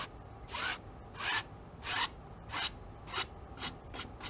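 A wide bristle brush scrubs and rubs across the oil-painted surface of a medium, hollow-backed stretched cotton canvas on an easel. Seven short, bright, raspy strokes rise out of a quiet background at a steady, unhurried pace. Each stroke is a brief high-frequency hiss with little low end.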